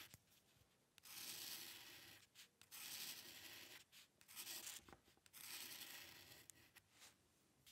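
The metal nib of a dip pen scratches across a flat sheet of white drawing paper, making short hair strokes. Quiet, bright, hissy scratching comes in several longer bursts, broken by brief gaps and small ticks as the nib lifts and touches down again.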